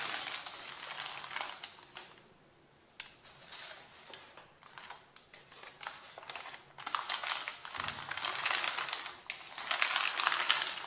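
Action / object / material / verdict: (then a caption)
scrape / stack of printer paper sheets / paper / none. One hand rubs and scratches the crumpled top sheet of a thick stack of printed A4 printer paper with fingertips and nails. The result is bright, dry crinkling and scratchy rustling with a brief quiet pause near the start, growing denser and louder toward the end.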